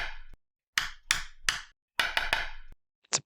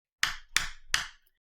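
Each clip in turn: First: French 1920 coin of harder, stronger metal. Second: base-metal coin, dull weak ring.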